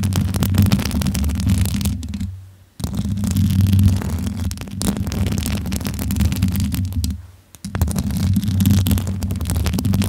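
Long nails and fingertips rub, tap and scratch the hollow metal mesh grille of a pink USB condenser microphone with its foam cover removed, hands cupped around the mic head. The result is a dense, boomy low rumble with crackly scratching, broken by two brief near-silent gaps around 2.5 and 7.4 seconds.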